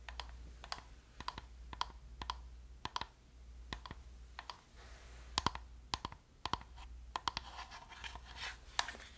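Long nails tap and scratch across the surface and buttons of a hollow black plastic gamepad held close to the mic. Quick, dry clicks and taps come in an irregular run over soft scratching, with brief bright ticks centered around 1 kHz. A steady low hum sits underneath throughout.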